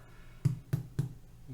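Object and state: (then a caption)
Whole wheat sourdough loaf, baked through and hollow. A cooled whole wheat sourdough loaf is tapped three times, giving short, dull, low thumps with a hollow ring. The hollow sound shows the loaf is baked through, and it did not stick at the bottom.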